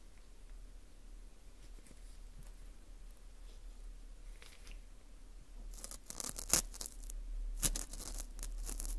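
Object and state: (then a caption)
Dried wheat gluten ring (fu) scraped. Metal tweezers pick and scrape inside the hole of a dry, porous dried wheat gluten ring (fu) held in a gloved hand. Faint, soft scratching over a steady low hum builds after about five seconds into louder, crackly crunching scrapes. Two sharp, bright clicks stand out near the end.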